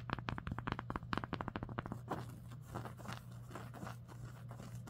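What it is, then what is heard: Embroidered cotton sweatshirt. Long acrylic nails and fingertips scratch and trace over the threads of a large raised embroidered landscape patch on a green cotton sweatshirt lying flat. About two seconds of quick, dry, crackling scratches come first, then softer continuous rasping as the nails trace across the stitching, over a steady low hum.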